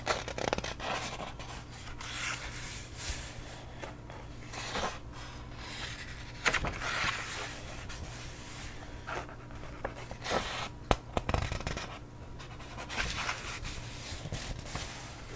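A thick hardcover book with a red cover and cream paper pages is held open in the hands while its pages are fanned and turned with the fingertips. Soft paper rustles and scrapes run throughout, broken by sharper, crisp page flicks, over a steady low hum.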